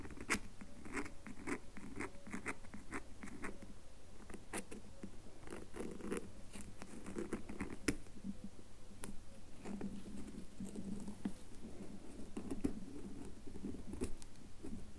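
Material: Soap.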